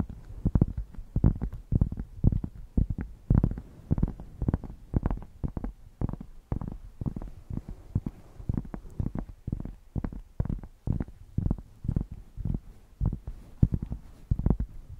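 A thick, solid cork square held in both hands is scratched with long nails close to the microphones. It makes a steady run of short, rapid, muffled scratching strokes that are deep and bassy, with almost no bright content.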